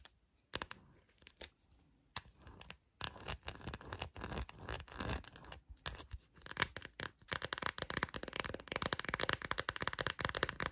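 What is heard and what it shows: Long nails scratch and tap the back and edges of an empty clear textured plastic phone case held in both hands. A few sharp, isolated taps open the clip, then give way to bursts of bright scratching. The second half is a dense, fast flurry of crisp clicks and scrapes.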